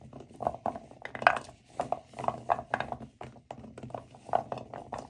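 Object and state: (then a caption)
Pile of dry natural cork stoppers being rubbed together. A pile of dry, solid natural cork wine stoppers in a white bowl is rubbed and squeezed together with both hands. It produces a steady run of short, squeaky creaks and soft rustling crunches with a midrange tone, some bursts louder and brighter than others. Each sound stops almost at once, with no ring.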